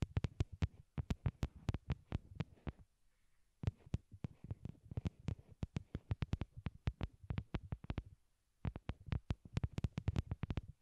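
A pair of small white hollow plastic wired Apple earbuds, used as the microphones and resting on a cork board, is tapped rapidly with long glittery nails. The result is quick bursts of short, dull, low thumps with almost no ring, each with a faint bright click on top, broken by brief pauses.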